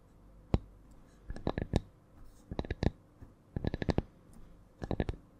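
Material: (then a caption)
Wood. A small, flat, round wooden coaster, held above the microphone, is tapped with long nails in slow, irregular clusters of short, dry clicks after a single opening tap. Each tap is sharp with a low, woody knock and almost no ring, sounding solid.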